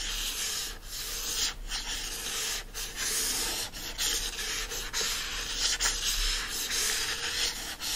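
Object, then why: Hardcover book with printed cover. Fingertips and nails rub and scratch the printed cover of a yellow hardcover book lying flat. A steady, bright, hissy scraping runs throughout, broken by brief dips as the strokes change direction.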